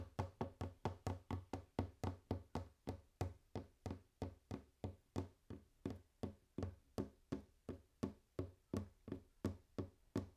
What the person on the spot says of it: ASMR | Tapping on wooden table / ASMR | Tapkanje po leseni mizi